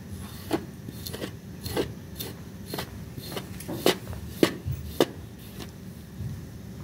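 A blue plastic disposable razor, held in the hand, scrapes across a small, flat, butterfly-shaped pink woven textile rug that lies dry and clean on a white surface. About eight short, crisp scratchy strokes sound at an uneven pace over a low, steady rumble. The strokes have a bright, papery edge and die away quickly.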